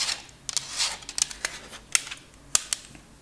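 Long acrylic nails tap and scratch a thin purple plastic CD case holding a disc. About eight sharp, bright plastic clicks stand out among softer scratchy brushing, each one dry with almost no ring.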